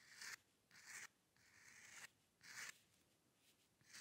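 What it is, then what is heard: Steel pen nib scratching on paper. A steel-nib dip pen with ink scratches fine hair strokes across a flat sheet of white drawing paper resting on a dark table. Four louder, bright, dry scratching bursts stand out between softer, continuous scraping, with most of the energy high and around 2 kHz and almost no low end.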